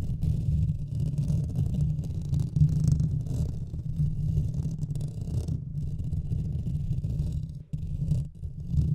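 Both hands scratch the top of a Blue Yeti microphone's hollow metal mesh grille with their nails. The result is a dense, continuous, muffled rumbling scratch concentrated in the low end, with a brief drop in level near the end.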